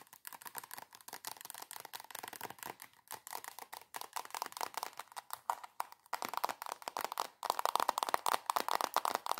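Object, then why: Soft plastic squeeze tube. Long acrylic nails tap rapidly on a soft plastic squeeze tube of body cream held upright, producing a dense stream of crisp, dry clicks centered in the midrange with bright edges and no low end. The tapping grows louder and more intense toward the end.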